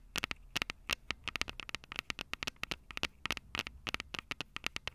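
Long purple acrylic nails tap and scratch the two small crossed metal mesh microphone capsules on the hollow plastic body of a Tascam DR-05 handheld recorder. A rapid, irregular series of sharp, dry clicks sounds close and bright, with a faint metallic tone near 2.7 kHz and almost no ring after each tap.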